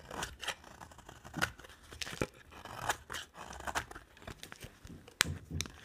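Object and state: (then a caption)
Bar of dry soap. A thin remaining slab of dry cream soap with an orange edge is shaved with a utility-knife blade. Repeated short, crisp scraping and crunching strokes carry bright, papery detail, with a few sharper snaps standing out near the end.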